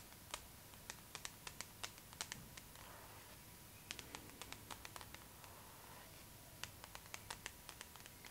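Long nails scratch the cover of a glossy paper magazine held upright near the face. About thirty sharp, bright, quick nail clicks ring out, with soft papery scraping between them, over a quiet background with a faint steady tone near 900 Hz.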